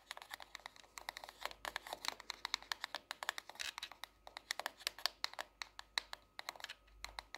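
Long nails tap the cover and spine of a hardcover paper notebook, a solid paper block, held upright, then tap and scratch its glossy cardboard cover once it is laid flat on a desk. A quiet, rapid, uneven run of dry, bright clicks sounds with almost no ring or low end, and brief scratchy strokes appear among the taps.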